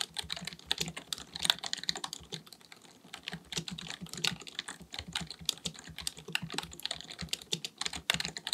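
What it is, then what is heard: Plastic computer keyboard being typed on. Both hands type continuously with their fingertips on a black, full-size plastic keyboard resting on a desk; the keyboard is likely mechanical with a hollow body. Rapid key taps make a dense stream of short, bright clicks with a light low thump underneath, each tap dying away almost instantly.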